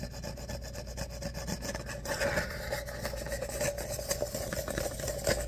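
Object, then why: Ribbed paper cup. An empty, hollow tan ripple-wall paper coffee cup is held in the hand while its ribbed surface is scratched and rubbed with fingernails and fingertips. Quiet, rapid, papery scratching runs throughout over a steady hum near 530 Hz. The rubbing grows brighter and a little louder after about two seconds.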